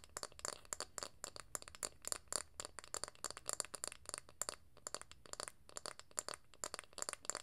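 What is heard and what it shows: A round, flat, light-coloured wooden lid about the size of a palm, likely from a jar or candle, is held close to the mic and tapped and scratched with long acrylic nails. Rapid, dry clicks and scratchy taps with bright, crisp high-end detail come in quick, irregular bursts. Each sound cuts off at once with no ring.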